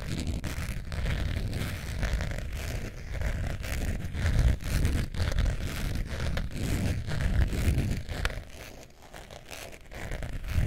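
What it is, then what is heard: Faux leather zip wallet being scratched. A long nail scratches the surface of a long beige faux leather wallet near its metal zipper while the wallet is held in the hands. The result is a steady stream of dense, irregular, deep scratching strokes, mostly low and rumbly with a faint bright grit. The scratching quiets briefly near the end before picking back up.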